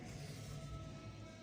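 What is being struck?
Nothing is struck.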